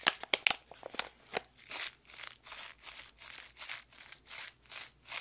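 A small sealed foil-plastic packet of Dip Loko popping candy is held up close and crinkled and squeezed between fingertips with long acrylic nails. A few sharp, bright clicks from the nails open the clip, followed by a steady series of soft, hissy crinkling bursts that rise and fade one after another, bright and airy with almost no low end.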